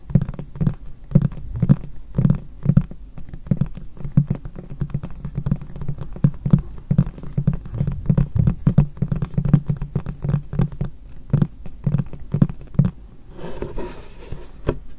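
A medium, hollow, white frosted translucent plastic storage box is tapped with fingertips and short nails across its top and face, held close to the recorder. Rapid, dull, hollow taps with a low thudding body patter on continuously, each dying away almost instantly. Near the end the tapping thins out and a brighter, scratchy rustle comes in.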